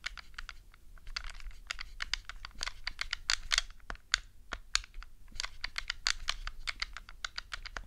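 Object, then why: Plastic game controller. Long glittery nails tap and press the face buttons of a black, hollow plastic Nintendo GameCube controller resting on a fluffy rug. The result is a rapid, irregular stream of sharp, dry clicks, very much like typing on a keyboard, with each click dying away almost instantly.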